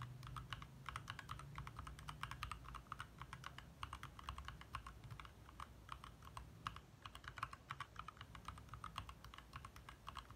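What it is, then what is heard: Plastic mechanical keyboard being typed on. Both hands type fast with their fingertips on a compact 60% backlit mechanical keyboard with lit plastic keycaps. A steady, rapid stream of short, crisp plastic clacks centers around 1.2 kHz with bright upper edges. Each clack dies almost instantly over a soft low rumble.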